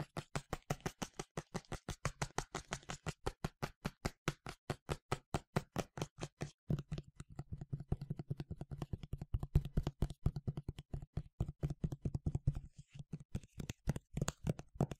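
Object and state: Plastic spray bottle.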